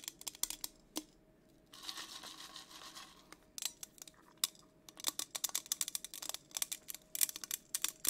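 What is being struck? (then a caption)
Insulated stainless steel tumbler with a coated surface. Long acrylic nails tap and scratch the side of a hollow teal insulated tumbler, probably stainless steel, with a matte coating, a dark lid and a straw, held in one hand. Sharp, bright clicks come in quick bursts, broken by a soft, hissy scratching stretch, and each tap dies away almost at once. The sound is quiet and high, with almost no low end.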